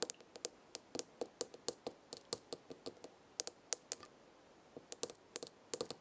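Long red nails tap the glass side of a small herb-filled glass jar with a gold lid, making about two dozen quick, quiet, bright clicks in uneven bursts with short pauses. Each tap is sharp and high with a faint low glassy tone under it, and dies away almost at once.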